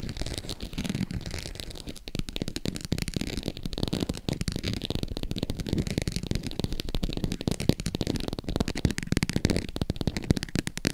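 Long acrylic nails scratch the ridged surface of a green glossy croc-embossed faux leather purse tilted in the hand. The result is a dense, continuous run of rapid dry scratches and tiny clicks with a dull low body and little brightness, lasting the full eleven seconds.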